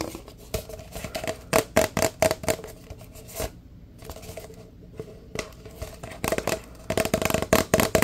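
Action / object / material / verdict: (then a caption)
tap / large paper drink cup / paper / none. A large, empty, hollow paper fast-food cup with a red pattern is held in both hands and tapped fast with the fingertips. The taps come in quick, uneven bursts, each a short, dry knock with a hollow tone near 650 Hz. Brief quieter pauses fall between the bursts.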